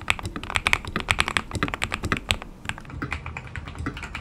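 A white RK100/RK860 mechanical keyboard with KTT Kang White linear switches and clear polycarbonate keycaps, resting on a PU leather desk mat, is typed on with the fingertips of both hands. A fast, uneven run of about 29 short, dry clacks sounds bright and crisp with a little low thump. The keystrokes are loud and dense at first, then lighter and softer over the last part.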